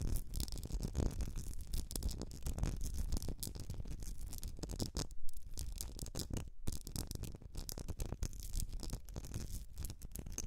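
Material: Glass.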